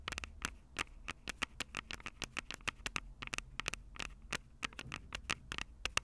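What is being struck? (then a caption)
Plastic and metal handheld audio recorder. Long purple acrylic nails tap rapidly on the two metal-grilled microphone capsules of a Tascam DR-05 handheld recorder with a plastic body. About 29 sharp, dry clicks come in an uneven patter, each bright with a tonal edge near 2.7 kHz and dying away instantly over a faint low rumble.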